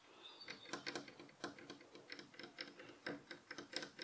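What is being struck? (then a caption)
Light wooden bed headboard rail. Several fingernails tap rapidly on the solid, light wooden headboard rail of a bed frame, while the pillow beside it stays untouched. The result is a quiet, uneven patter of short, dry, bright clicks with a faint woody body near 350 Hz and almost no low end. Each tap dies away almost immediately.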